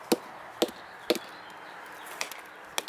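An arborist strikes the base of a 56-inch chinquapin oak trunk with a sounding mallet, producing seven short, dry knocks with a low-mid pitch around 320 Hz and bright, crisp attacks that die away almost instantly. The spot sounds solid.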